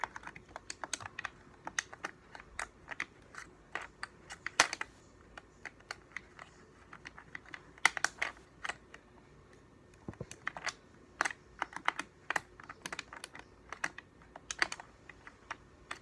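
A hollow, translucent blue and white plastic game controller is held steady in both hands while the thumbs rapidly press its buttons. Quick, dry, bright clicks and taps come in irregular bursts with almost no low end, broken by a brief pause before the clicking resumes.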